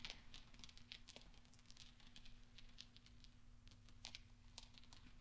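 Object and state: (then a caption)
Steel pachinko balls. Small solid steel pachinko balls resting on black velvet are pushed and clinked together by fingertips and nails, gently rolling and tapping. Quiet, bright metallic clicks and ticks, centered around 3 kHz, die away almost instantly over a steady low hum.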